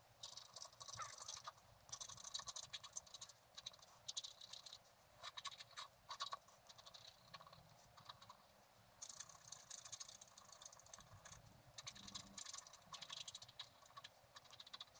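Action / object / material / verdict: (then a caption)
scrape / black wax-coated scratch art card scratched with a wooden stylus / coated paper / none. A wooden stylus scratches short strokes near the bottom edge of a flat scratch-art card made of black wax-coated paper. The result is a quiet, bright, dry scratching in rapid bursts with brief pauses, mostly high-pitched hiss with almost no low end.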